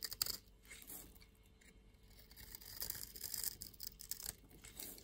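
A solid white bar of soap held in the palm is scraped and shaved into white flakes by a green utility-knife blade. A few sharp clicks at the start give way to a soft, continuous bright scratching and rasping that swells and fades as the blade works. The sound is quiet and dry, with almost no low end.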